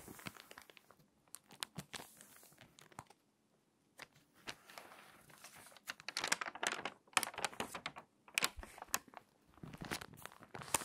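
Long white-painted nails and fingertips rub and press the thin, flexible glossy pages of an open celebrity magazine lying flat on a table, creasing the spine and turning the crinkly pages. Bright, dry crinkles, rustles and sharp paper snaps come in uneven bursts, with brief near-silent pauses, and build to denser, louder crackling toward the end.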